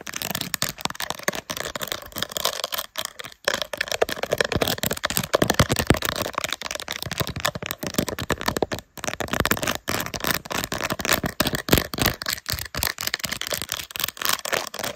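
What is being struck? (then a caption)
Plastic phone case covered in small rhinestones. Long nails scratch and tap fast across a phone in a plastic case densely covered with small silver rhinestones, mounted on a tripod. The gritty rhinestone surface gives a dense, continuous crackle of bright scratching and short, sharp taps with almost no ring.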